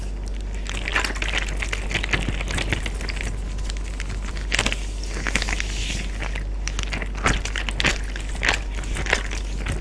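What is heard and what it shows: A clear Ziploc bag full of water resting on a beige surface is pressed, patted and tapped by an open hand with fingertips and short nails, while neighbouring bags sit untouched. Soft crinkling and crackling plastic mixes with dull pats and sharp, bright taps that stand out at intervals. A steady low hum runs underneath throughout.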